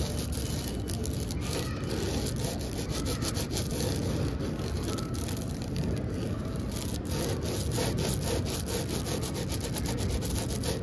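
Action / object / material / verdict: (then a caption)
scrape / plastic-wrapped foam board / plastic film / none. Long acrylic nails and fingertips scratch and rub across the crinkly clear plastic film wrapped around a large, solid blue foam board. The sound is a steady, dense scratching and rubbing with faint crinkles and brief bright scrapes, heavy in the low end and held at an even level throughout.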